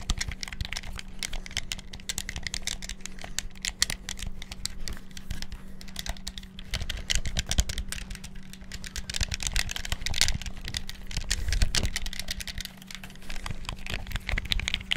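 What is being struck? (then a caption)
Plastic game controller buttons. A black hollow plastic handheld gamepad is held in both hands close to the microphone while fingertips rapidly press and click its buttons and thumbsticks. Dense, fast, dry plastic clicks and rattles run continuously for the whole clip, with bright, sharp transients over a steady low hum near 200 Hz.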